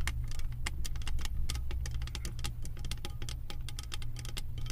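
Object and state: Metal candle jar lid tapped with nails.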